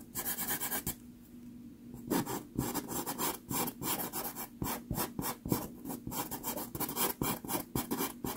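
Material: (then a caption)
Sanded card. A red pastel pencil is rubbed and scratched in short strokes over a small taped sheet of sanded Pastelmat pastel card, close up. A rapid series of gritty, raspy scrapes with bright hiss is heard, with a brief quieter pause near the start before the strokes resume.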